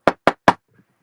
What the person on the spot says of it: I'm sitting at my desk. You can hear that. I'm knocking on it.